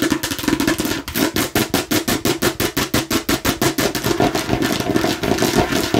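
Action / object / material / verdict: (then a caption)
tap / hard plastic watermelon-slice container / plastic / none. Long nails on both hands tap and scratch rapidly over a hollow, hand-sized hard plastic container shaped like a watermelon slice. The result is a fast, steady stream of crisp, bright clicking bursts layered over a continuous scratchy rasp, with a hollow plastic resonance underneath.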